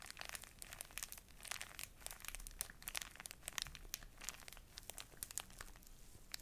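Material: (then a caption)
Plastic film. A full, small, soft pocket tissue pack in a thin plastic wrapper is held near the mic and crinkled and scratched with long nails. The result is a quiet, steady stream of bright, crisp crackles and sharp ticks, with little low-end body.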